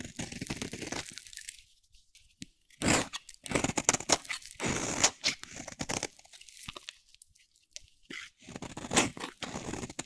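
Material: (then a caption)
Soap. A solid, dry, light blue soap bar held in hand is shaved into flakes with a metal utility blade. Bursts of crunchy, bright scraping come in uneven strokes separated by short pauses, each stroke dry with almost no ring.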